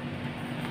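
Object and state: Nothing is struck.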